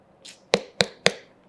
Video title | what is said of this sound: పుచ్చకాయ కొనే వారికి బండ గుర్తు ఇదే..! -- Dr.Vikram Adithya -- Best Tips To Pick Watermelon | Filling ఉన్నట్టు fill ఉంది, పూర్తిగా ఫిల్ అయి ఉంది. ఇది కేవలం నీటి శాతం అధికంగా ఉంది.